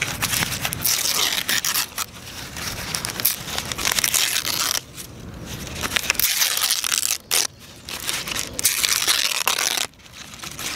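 A thin, crumpled, yellowish tissue or wrapping paper sheet is held up outdoors and gripped by the fingertips of both hands, which pull, crumple and tear it. Dense, bright crinkling and crackling runs almost continuously, broken by a few brief quieter pauses, with very little low end.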